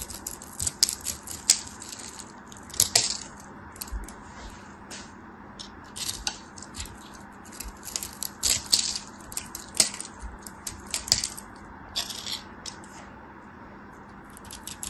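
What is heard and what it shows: A craft knife scrapes and cuts a solid, palm-sized green bar of soap, shaving off grid-scored cubes that crumble away. The sound is a dry run of bright, crisp crunches and scratchy clicks over a quiet background with a faint low steady hum.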